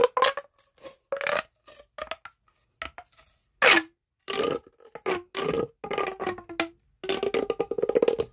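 An orange, hollow, corrugated plastic pop tube is bent and stretched between both hands, its ridges clicking under the fingertips. Short bursts of dry, rapid clicks and pops come in irregular clusters, some with a faint tonal squeak in the mid range and bright edges. Each burst stops quickly, with almost no low end.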